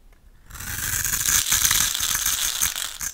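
A snap-off utility knife blade scrapes and cuts thin slices off the face of a solid, hand-sized oval pink Camay soap bar held in one hand, leaving crumbly shavings. After a brief near-silent start, a continuous bright, crackly scraping rises and carries on with a fast, uneven gritty texture until the end.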